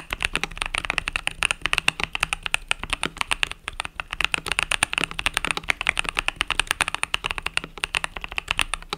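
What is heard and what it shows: A compact mechanical keyboard with pastel purple-and-yellow plastic keycaps is typed on rapidly by fingertips. It gives a dense stream of short, bright clacks that stop dead, with a faint low hum underneath.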